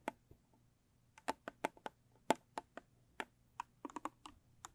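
Long stiletto nails tap and scratch the top of a small, square, rigid cardboard gift box with a closed blue textured lid. About sixteen quiet, sharp, dry clicks land at an irregular pace, each with a hollow mid-pitched knock near 870 Hz and a bright edge. Every click stops almost instantly, with no ring.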